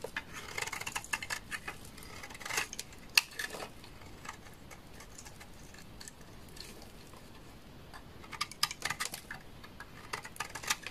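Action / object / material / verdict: scrape / bar of laundry soap / soap / none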